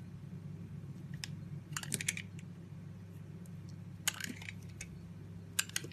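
A utility knife blade carves and scrapes pieces off a solid oval bar of blue soap held in a hand with long nails. Crisp, bright cutting and scraping clicks come in short bursts over a steady low hum, with the sharpest snaps near the end.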